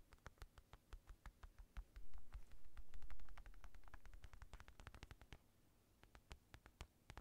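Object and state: Synthetic leather boxing glove.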